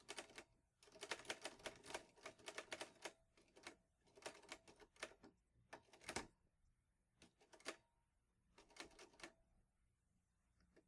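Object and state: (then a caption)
Manual metal typewriter. Fingertips type on the keys of a green metal manual portable typewriter, an Olivetti Lettera 22. Quick bursts of sharp, bright clacks come in clusters separated by short pauses, with a faint metallic ring near 440 Hz. Each strike dies away almost at once, and one stands out louder about midway through.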